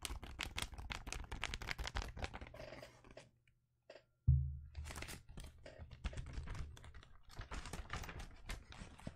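A long roll of blue penguin-print wrapping paper on a hollow cardboard core, held upright in one hand, is tapped by fingertips and nails along its length. Quick, dense taps and papery crinkles sit over a low, hollow body. They stop for about a second, resume with a loud thump, then continue at a steady rapid pace.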